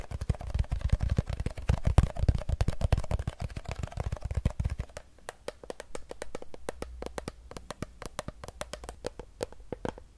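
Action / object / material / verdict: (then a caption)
tap / plastic water bottle with water / plastic / none. Long acrylic nails tap and scratch rapidly over a hollow Fiji plastic water bottle filled with water, with a blue cap. For about five seconds the dense taps carry a deep, muffled thump; then the low rumble drops away, leaving sparser, crisp, bright clicks.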